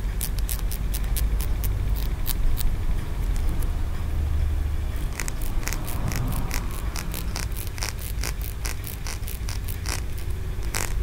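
Fingertips and nails scratch and tap the ridged tiers of a small, solid green aventurine stone pagoda figurine held close up. Rapid, irregular bright clicks and scratchy ticks repeat over a steady low rumble, with a brief quieter stretch in the middle before the tapping picks up again.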